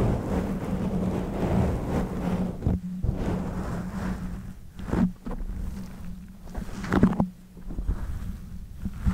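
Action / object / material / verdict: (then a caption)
scrape / foam microphone windscreen / foam / none. Fingers with long nails squeeze, rub and scratch a black soft foam windscreen covering the head of a pink condenser microphone. The result is a dense, muffled, low rumbling texture over a steady low hum, with a few louder crackling swells standing out.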